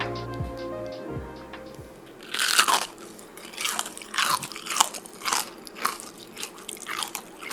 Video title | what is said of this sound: Chicken Sandwich - BETTER THAN POPEYES CHICKEN SANDWICH | Yeah, you heard it. It's crunchy, all right